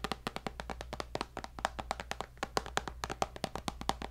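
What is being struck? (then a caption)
Tablet glass screen. Fingertips and nails tap rapidly on the glass screen of a tablet with a white bezel in a black case, about thirty short, dry clicks with no ring and a clear knock near 780 Hz. The taps are crisp and bright, heard over a steady low hum.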